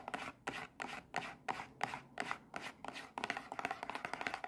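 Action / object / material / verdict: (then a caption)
tap / small printed cardboard box / cardboard / none. A small printed cardboard Kinder Joy box, hollow and still holding its eggs, is held in the hands, turned between them, and tapped and scratched with long red-painted nails. Dry, papery scratching bursts come at an uneven pace for the first three seconds, then give way to a quicker run of crisp taps and scrapes with a hollow cardboard tone.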